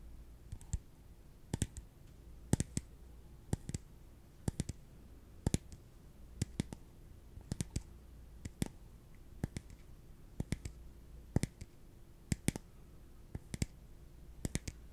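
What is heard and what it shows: A small, empty, hollow translucent plastic cup, held in one hand, is tapped slowly with the fingertips and nails. Short, dry, bright clicks come at a steady unhurried pace, often in quick pairs, each dying away almost at once. A faint low steady hum sits underneath.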